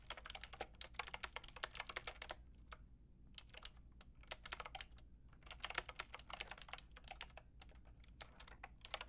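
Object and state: Plastic mechanical keyboard being typed on.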